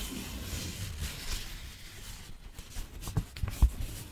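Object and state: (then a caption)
Crinkled paper sheet. A thin, crinkled white paper sheet is held in both hands and spread out while fingertips and nails rub and crinkle it. Its soft, steady rustling hiss fades slightly, then gives way to four sharper crackles near the end.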